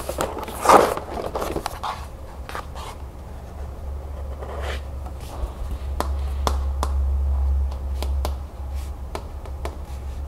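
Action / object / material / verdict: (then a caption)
tap / cardboard cereal box / cardboard / none. Long nails tap and scratch on the back panel and bottom edge of a cardboard cereal box, held close up. A broad scratching rush at the start gives way to scattered sharp, bright taps and softer scrapes. A steady low hum runs underneath throughout.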